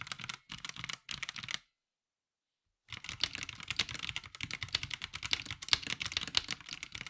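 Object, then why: Plastic mechanical keyboard. Fingertips of both hands press and tap the grey and white ABS keycaps of an NYK Nemesis Daemon 65% mechanical keyboard with a black plastic case, resting on a grey surface, in a typing test. Three short bursts of bright, crisp clacks give way to about a second of silence, then a steady run of rapid, sharp keystrokes with quick, dry decays.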